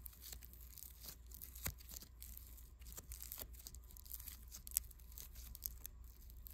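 A small lump of unpackaged pink foam clay, made of tiny polystyrene beads and soft but solid, is rolled and rubbed between fingertips. It gives a steady run of fine, bright crackling and tearing crunches over a low, constant hum, with a few sharper pops standing out.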